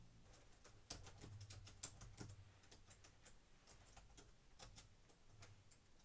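Fingertips with medium-length painted nails type rapidly on a black plastic laptop keyboard resting on a wooden desk. The result is a steady stream of quick, bright clicks and taps over a low background hum, with a few louder key strikes standing out.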